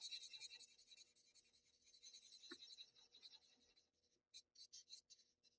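The pointed tip of a paper blending stump rubs small strokes into graphite shading on a flat sheet of Bristol paper. A quiet, bright, papery scratching runs steadily for about four seconds, pauses, then returns as a few short, separate strokes.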